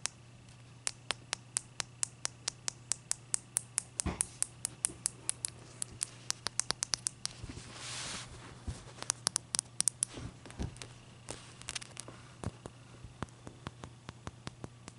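Long dark-purple fingernails tap and scratch the sides and top of a large, clear, solid ice cube standing on a white towel. About fifty sharp, bright, clicky taps come in quick, uneven succession, with a brief hissy scratching swell in the middle, over a steady low hum.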